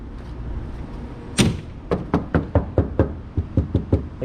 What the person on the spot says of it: that sounds like metal that's metal that's metal that's metal